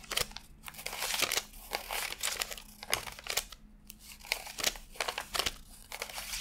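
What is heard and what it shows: Fingertips flick and slide through a fanned stack of thin cotton-paper $100 bills while counting them. A rapid series of crisp, bright paper snaps and crinkles rises over a soft sliding rustle. Each snap dies away almost instantly.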